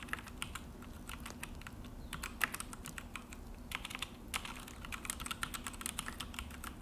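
Both hands type with fingertips on a full-size Akko mechanical keyboard with an orange plastic case and black plastic HyperX keycaps, resting on a desk. A rapid, uneven stream of short, sharp, bright key clicks and taps with almost no ring sounds over a steady low hum.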